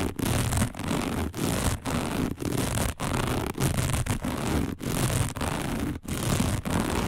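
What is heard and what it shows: Long nails of both hands scratch fast across a round, dark, flat and thin coiled woven fiber placemat. The result is a dense, continuous rasping scratch with a heavy low rumble and a bright, airy top. It breaks into short bursts separated by brief dips in level.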